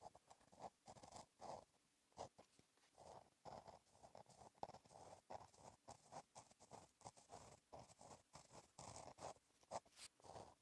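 A gel pen tip scratches across a flat black lined page of a black paper notebook while writing in cursive. The quiet, dry scratching comes in short bursts of strokes with brief pauses between them, its texture centered in the midrange around 800 Hz with some bright hiss.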